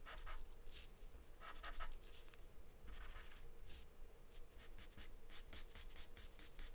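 A wooden pencil scribbles continuously on a thin, flat sheet of white drawing paper taped down. The result is a quiet run of bright, scratchy strokes in quick bursts, with a steady low hum underneath.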